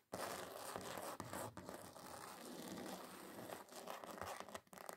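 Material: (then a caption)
Card. Long acrylic nails scratch across the glitter surface of a thin, solid, flat red glitter-covered card sheet. The result is a dense, continuous gritty rasp centered in the mids, broken by brief dips around 1.2 seconds and near the end.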